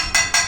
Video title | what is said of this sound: MATERIALS: METALS AND NON-METALS PART 1 CLASS 8 | Okay, metal is a ringing sound. This is a ringing sound.